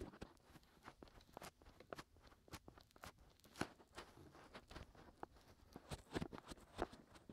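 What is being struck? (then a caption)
Silicone microphone ear. Fingertips scratch and rub inside and around the hollow canals of the white silicone ears of a 3Dio binaural microphone on a tripod. The result is a quiet, close run of short, dry crackling scrapes and soft thumps, with bright rasping bursts over muffled low rubbing. Each scratch stops sharply with no ring.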